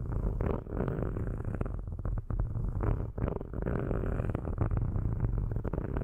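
Metal-tipped sticks scratch across the metal grille tops of two black cylindrical microphones. The result is a dense, continuous rasping rumble, heavy in the low end with little high content, broken by a few brief dips where the strokes change.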